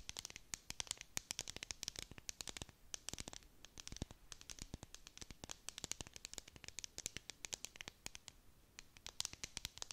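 A clear plastic tumbler with a dome lid and confetti filling is held in both hands and scratched with long nails. The result is a quiet, fast stream of bright, crisp scratching clicks with very little ring, and dense bursts separated by brief pauses.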